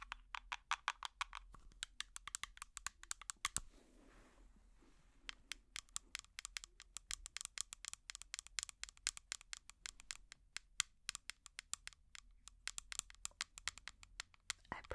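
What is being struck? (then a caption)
Small plastic jar. A small, hollow plastic jar with an orange lid, held close to the microphone, is tapped rapidly with metal finger picks. The result is a dense run of sharp, bright clicks with almost no ring, broken by a brief quieter scratchy stretch before the tapping resumes.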